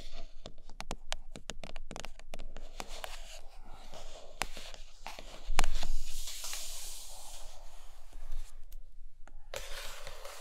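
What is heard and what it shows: Long nails scratch the sides and then the top of a large iPad Pro cardboard box with a glossy printed lid. Quick, uneven scrapes and taps come about four per second with a bright, papery texture. The sound swells into a louder stretch of scratching near the middle before settling back to a steady rasp.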